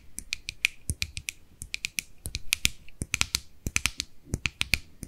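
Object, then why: Small plastic jar. Long nails tap and scratch the lid and rim of a small white plastic cosmetic jar held in the hands. About 27 sharp, dry clicks come in an uneven rapid series, each bright and high with a light ping near 2.4 kHz, with soft scratchy rustle between them.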